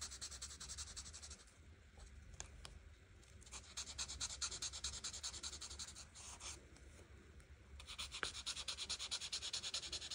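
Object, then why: Felt-tip marker on paper. A felt-tip marker is rubbed quickly back and forth over the leaf areas of a flat paper coloring book page, coloring them teal. The strokes make a bright, dry, scratchy hiss in bursts, with quieter, softer stretches in between and a faint low hum underneath.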